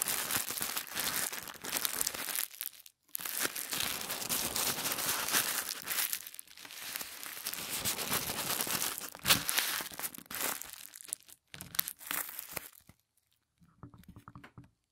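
A sheet of thin white tissue paper is folded into a triangle by hand, then pressed and creased with the fingers. It makes dense, bright crinkling and rustling with little low end, broken by short silent pauses. Only faint, sparse crinkles remain near the end.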